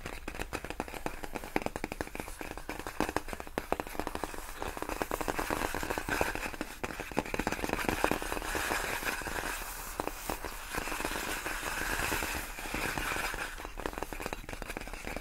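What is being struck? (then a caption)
Inflated plastic air-column packaging. Long fingernails on both hands tap quickly across large, clear, inflated plastic air-column packaging made of hollow air-filled tubes. The result is a dense, continuous run of fast, light, crackly clicks with a hollow plastic tone, brightest in the upper mids, with each tap dying away almost instantly.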